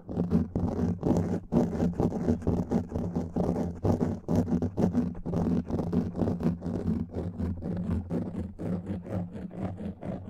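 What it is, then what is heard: Foam microphone windscreen being scratched. Fingernails scratch and rub across a black foam microphone windscreen. The result is a dense, muffled scratching with a heavy low rumble, coming in quick, uneven strokes of about two per second. The scratching rises and falls steadily for the whole clip.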